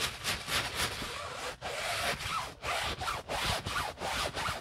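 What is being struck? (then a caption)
Nylon handbag scrubbed with a bristle brush. A wooden-handled bristle brush with soapy foam scrubs the body and woven strap of an empty beige nylon Prada shoulder bag, held open by a gloved hand inside it. Steady, bright, broadband scratchy brushing strokes swell and fade in repeated rubbing passes, with brief pauses between them.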